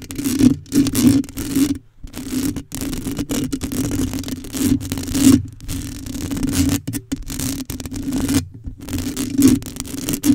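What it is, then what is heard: Metal mesh microphone grille being scratched. Long matte acrylic nails on both hands scratch and rub the hollow, rounded metal mesh grille of a black USB condenser microphone. The result is a continuous, uneven run of close, crackly scraping and rustling with short pauses, over a steady low hum.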